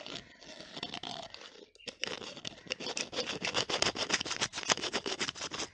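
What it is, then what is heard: Small glass bottle with plastic screw cap. Long nails tap and twist the green plastic screw cap of a small clear glass bottle held close to the mic. The result is a rapid run of crisp, bright clicks and scratchy rubs with a brief pause partway through, followed by faster, louder tapping.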